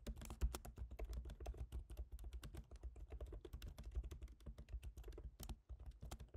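Fingertips type steadily on the black plastic keys of a silver aluminium MacBook Pro laptop keyboard, making a quick, continuous stream of short, dry clicks and taps. Each tap carries a bright click over a soft thump, with a low steady hum underneath.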